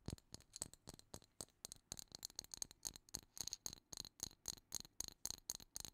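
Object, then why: Clear plastic jar filled with seashells. A clear plastic jar full of seashells is shaken and tapped with long nails. It makes a quiet, rapid, uneven series of bright, crisp clicks and rattles, mostly high in pitch, and each one stops almost at once.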